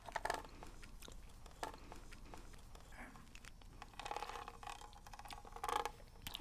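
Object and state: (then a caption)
Plastic game cartridge tapped with fingernails. Long red nails tap on the shell of a hollow plastic NES game cartridge held in one hand. Quick, light clicking taps come in scattered bursts, with a short, hollow midrange ring that fades almost at once between softer scratches.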